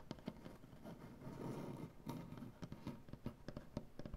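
Both hands scratch and tap a large, solid wooden butcher-block tabletop with medium-length, dark painted fingernails. A steady, soft scratching rustle runs underneath sharp, dull knocks that die away almost instantly. The sound sits mostly in the low-mid range with little brightness.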